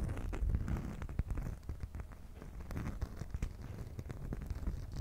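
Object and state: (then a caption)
Beeswax food wrap scratched and tapped. A beeswax cloth food wrap is held at an angle while long nails scratch and tap across its surface and edges. Soft, crinkly rustling and scraping run throughout, heavy in the low end, with sharp little taps popping out of the texture. The sound stays quiet and close.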